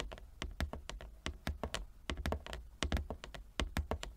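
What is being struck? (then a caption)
Inlaid wooden chess board. Long fingernails tap rapidly across a large inlaid wooden chess board, making quick, dry clicks with a soft low thump beneath each one. The taps come in an uneven, pattering run, each dying away almost instantly.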